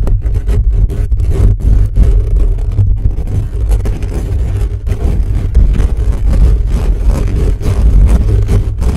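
Fingernails scratch and pinch the hollow metal wire-mesh grille of a microphone from above, fast and hard. The result is a dense, continuous low rumble of scraping and thumping, with nearly all the energy deep in the bass and almost nothing bright.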